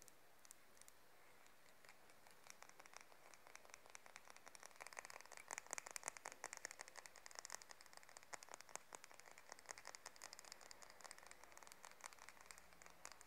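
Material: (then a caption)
Wood. Long fingernails tap and scratch along the spine and thin teeth of a light, solid wooden hair comb held up in both hands. Rapid, dry, bright ticks and scrapes with almost no ring patter quietly throughout and grow denser and louder from about five seconds on.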